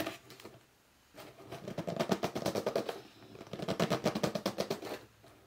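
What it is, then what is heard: Cardboard box being scratched and rubbed. Fingertips scratch the top edge of a hollow red cardboard box standing upright, and palms grip and rub its sides. A short faint rub is followed by two bursts of rapid, squeaky, drumming scratches with a hollow, boxy low body, separated by a brief lull and fading to quiet rubbing at the end.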